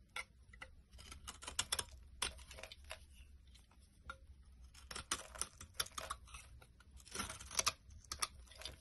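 A metal utility knife blade scrapes brittle flakes off a solid, rounded olive-tan bar of dry soap held in the palm. The result is a rapid series of short, crisp, bright scraping clicks and crackles, in uneven bursts over a quiet low hum.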